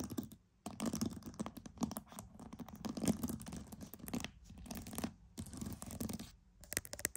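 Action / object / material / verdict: scrape / pearls / pearl / none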